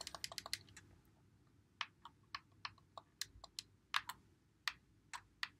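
Fingertips press and click the buttons and thumbsticks of a white Xbox One controller with a hollow plastic body, held in both hands. About twenty short, bright plastic clicks sound with almost no low end and die away almost instantly. A rapid burst opens the clip, then the clicks come more spaced out.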